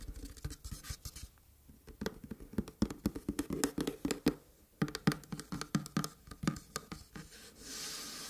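Long red-painted fingernails tap and scratch across the surface of a long, flat red cardboard gift box lid with gold print, held up in both hands. A rapid, uneven series of dry, hollow taps and scratchy clicks has a low cardboard resonance. The sound ends in a soft, brushing high hiss.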